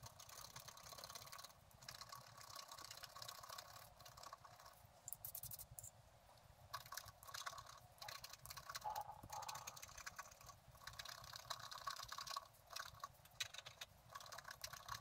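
A pointed wooden stylus scrapes a thin, flat black-coated scratch-art card lying on a table while the other hand holds the sheet flat. Quiet, bright, dry scratching strokes run almost continuously, with short pauses between bursts.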